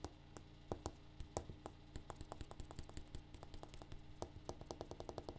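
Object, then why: Granite countertop. A granite countertop is tapped in a quick, uneven series of short, dry taps that die away almost instantly. The taps are quiet and soft, with a low, steady hum underneath.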